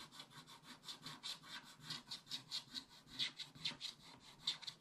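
A wooden stylus scratches long back-and-forth strokes across the top area of a black coated scratch-art paper page in a spiral book. About 13 soft, bright, raspy strokes swell and fade in an uneven rhythm. The scratching is high and hissy, with almost no low end.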